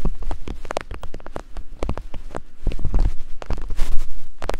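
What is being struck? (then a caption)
Soft silicone microphone ears. Two thin wooden picks rapidly tap and scrape against soft silicone binaural microphone ears. The result is a fast stream of short, deep, muffled thuds and rubbing scrapes, with the sound growing somewhat louder toward the end.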